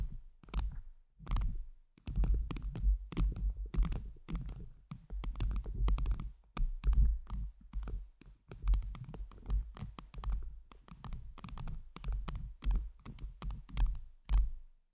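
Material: Acrylic.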